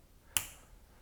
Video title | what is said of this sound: How to JMPI Combat Equipment | with the knuckles of the right hand tap it one time to ensure it sounds solid